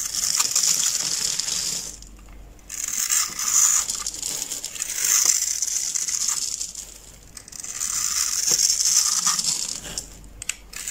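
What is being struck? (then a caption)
Glitter bar soap cut with a blade. A utility knife blade scores and cuts a hand-sized, solid oval pink glitter bar soap held in the palm into small cubes that crumble off. The sound is a bright, crisp scraping crunch that swells in long passes, broken by short quieter pauses and a few sharp clicks.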